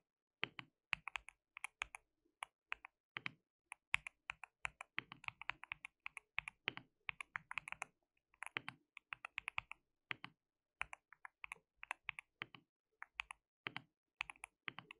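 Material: Plastic.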